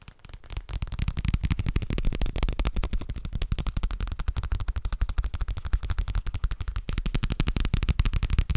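A paper booklet is tapped rapidly and continuously, giving a steady stream of dull, short, low-pitched taps with almost no ring. The tapping builds in loudness over the first second and then holds at an uneven but constant pace to the end.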